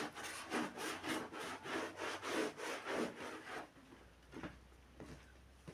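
A gloved hand scrubs a wet, foamy black-and-red pile rug with a handheld bristle brush, making about ten rhythmic, broadband scratchy strokes over the first three and a half seconds. The scrubbing then stops, leaving a quieter stretch with a few faint brushing sounds and light wet touches.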